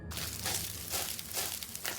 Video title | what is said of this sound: Jjajangmyeon Rhapsody [KBS WORLD SELECTION : EP.02] - KBS WORLD TV 250218 | When there's no moisture, you hear a crunch like fallen leaves when you tap them